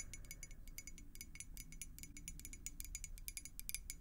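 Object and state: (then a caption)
Glass beer mug. Long acrylic nails tap rapidly on a clear glass beer mug partly filled with water. Quick, bright clinks with very short ring follow one another steadily over a faint low rumble.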